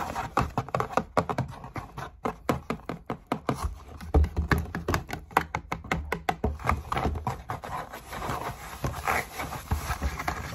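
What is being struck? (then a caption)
Cardboard shoebox lid. Long nails and fingertips scratch and rub the inside of an open, hollow, empty brown cardboard shoebox lid. Quick dry scratches and tapping clicks come in rapid, uneven bursts, each dying away almost instantly over a soft, hollow low body.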